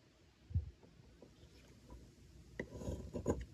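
A metal blade scrapes and shaves thin curls off the end of a solid oval white Dalan bar soap resting on a table, held by a hand with long nails. Quiet, low, dull scraping strokes come in short bursts, with the strongest near the start and toward the end, leaving soft crumbly shavings with little ring.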